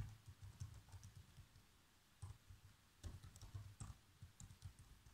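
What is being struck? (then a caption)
Plastic laptop keyboard. Fingertips with short nails type fast across the black plastic chiclet keys of a laptop keyboard. The result is a quick run of soft, low taps with brief, bright clicks on top. The clicks are uneven in spacing and die away quickly.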